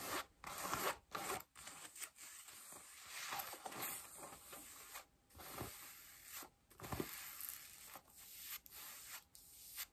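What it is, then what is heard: Denim jeans scratched with fingernails. Long nails scratch blue denim jeans stretched over a bent knee and thigh while seated. Quiet, bright, rough rasping comes in bursts of strokes separated by brief pauses, with a dry textured fabric scrape and little low end.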